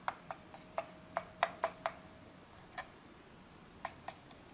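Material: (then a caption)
Plastic. A small, hollow, black plastic Logitech G100s gaming mouse is held and turned in the hands while fingertips tap and rub its textured plastic surface. Eleven short, crisp taps sound with very little ring, each carrying a faint hollow tone around 680 Hz. A soft rubbing hiss runs between them, and the taps are bunched in the first two seconds, then spaced out with quiet gaps.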